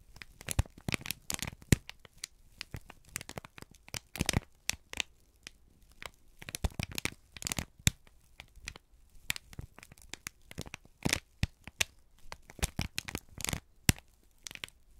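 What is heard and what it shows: A folded, crinkled sheet of brown kraft paper is held in both hands and squeezed and rubbed with the fingertips. Dense bursts of dry crinkling and crackling come in quick clusters, with bright, sharp transients and short pauses between them.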